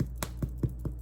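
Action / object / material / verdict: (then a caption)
tap / sourdough bread loaf / bread / hollow. Tapping on a baked sourdough bread loaf gives five low, hollow knocks with short decay, a sound that shows the loaf is baked through.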